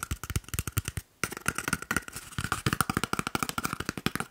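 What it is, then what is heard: Cardboard paper roll tube, hollow. An empty, hollow, hand-sized brown cardboard toilet paper roll tube is held in one hand and quickly tapped with the fingertips and short nails of the other hand. It makes a rapid run of short, dry, hollow taps with a thin ringing tone around 1.4 kHz and a soft low thump. The tapping breaks off briefly near the one-second mark, then resumes at the same brisk pace.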